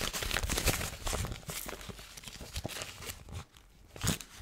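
A thin, crumpled gold foil paper sheet is held in both hands and twisted and crumpled with the fingers and long nails. It makes dense, irregular crackling and crinkling bursts with a bright, papery hiss and some low thumps. The crinkling eases and nearly drops out toward the end, then one last sharp crunch follows.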